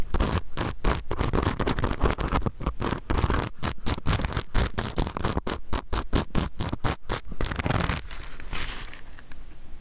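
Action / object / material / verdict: scrape / sequin fabric pouch / plastic sequins / none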